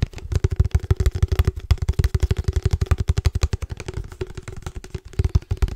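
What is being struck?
Plastic padel ball tube.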